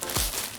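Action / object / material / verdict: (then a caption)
shake / air purifier filter with activated carbon pellets / activated carbon / none. A thick air purifier filter filled with activated carbon pellets for capturing odors is shaken, and the pellets inside give a short, loose rattling crinkle. The sound is bright and hissy with a brief low thump near the middle.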